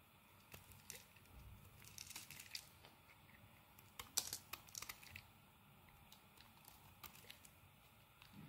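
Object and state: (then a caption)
Bar of soap being shaved. A utility knife blade shaves curls off a solid rectangular black soap bar held in the hand. Quiet, dry, crackly scrapes and brief bright ticks come in scattered bursts, busiest around the middle of the clip, with very little low end.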